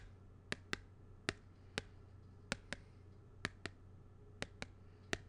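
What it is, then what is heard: Plastic badge holder tapped with a pen. A thin black pen-like tool taps a small, flat, thin and hollow plastic badge holder with a purple printed card inside, held in one hand, while the tool also traces across its surface. Eleven sharp, bright clicks, several in quick pairs, stand out against a steady low hum and faint background hiss. Each click dies away almost at once.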